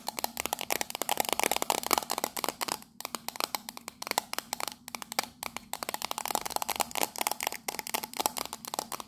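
Long nails tap and scratch quickly across the patterned side of a small, hollow, octagonal printed metal tea tin held in the hands. The result is a dense run of sharp, dry metallic clicks with a tinny ring near 1.2 kHz and a bright, scratchy hiss between them, broken by a few short pauses.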